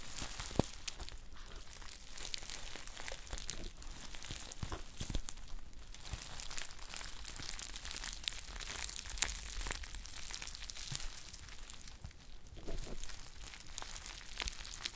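A medium green metallic foil stand-up tea pouch from Palais des Thés, with a paper label, is held in both hands and crinkled and scratched with long painted nails. The result is a dense, continuous stream of sharp, bright crackles and scratchy rustles with quick, dry clicks and no ringing, running over a low steady hum.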